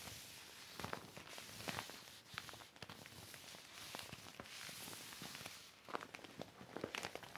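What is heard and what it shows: A large, thin, flat silver vinyl plastic sheet, the back of a deflated mat, lies on red carpet and is wiped with a yellow cloth, then smoothed and rubbed with the palms and fingertips. A steady bright hiss of crinkling plastic runs throughout, broken by many short, sharp crackles and pops.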